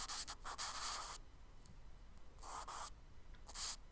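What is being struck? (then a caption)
Charcoal stick on kraft paper sketchbook page. A charcoal stick scratches tree strokes onto the solid surface of a tan kraft paper page in a spiral sketchbook. A quick run of short, bright, hissy scratching strokes fills the first second, followed by a quiet pause and two later bursts of dry, high scraping. A low, steady background hum continues underneath.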